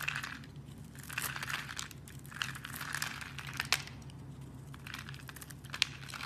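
A knife blade scrapes across a hand-sized solid bar of black soap with white stripes, scored in a grid and held in a hand with long red nails, crumbling off small cubes. Bright, dry crinkling and crunching bursts come in waves, with a couple of sharper clicks, over a steady low hum.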